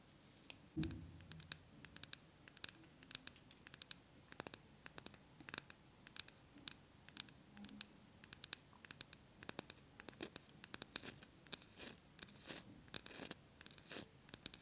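Long nails scratch and tap a small, upright glass jar filled with green wax and wrapped in a paper label. The result is a dense run of dozens of quick, bright clicks and dry scratches, each dying away almost instantly, with a brief low thump near the start.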